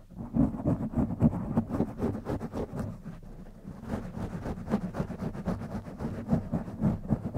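Fingertips of both hands scratch and squeeze the foam top of a black foam windscreen on a silver condenser microphone. The result is a dense, muffled scratching rustle, mostly low and boomy with little high end, that dips quieter around the middle before picking back up.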